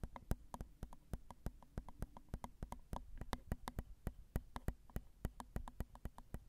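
Long acrylic nails tap quickly on the two crossed metal X/Y microphone capsules of a Zoom recorder, which are small and hollow. A rapid stream of sharp, dry clicks follows, each with a deep thump and a bright snap that dies away almost instantly.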